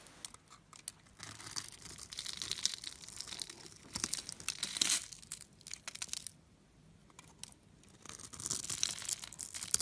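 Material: Soap.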